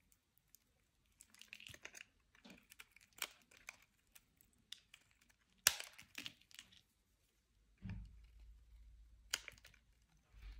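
A solid brown bar of soap is held in the hand while a metal utility knife blade shaves and scrapes flakes off it. The result is a series of quiet, dry, crisp scraping and crackling sounds with sharp, short clicks. Near the end, a soft, low-pitched rumble comes in.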